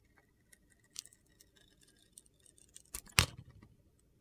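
A hand-held solid bar of soap with a blue-green glitter coating and a white interior, held by fingers with long red nails, is carved and scraped with a metal utility knife blade. Faint, bright ticks and scratches build into a louder, crunchy, gritty scrape near the three-second mark, then one last sharp click.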